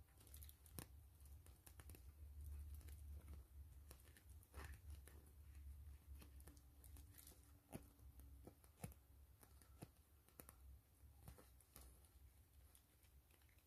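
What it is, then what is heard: PVC mesh zipper pouch. Long fingernails tap and scratch the plastic front of a gray PVC grid-mesh zipper pouch lying flat. The result is quiet, irregular sharp clicks and scratchy crinkling over a steady low rumble.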